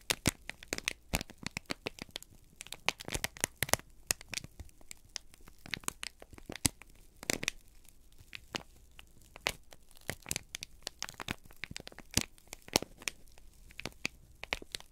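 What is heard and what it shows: A folded, crinkled brown kraft paper sheet is held in both hands and squeezed and crumpled with the fingertips. It gives a steady run of sharp, bright crackles and crinkling snaps with quick, dry tearing-like rustles between them, over a quiet background.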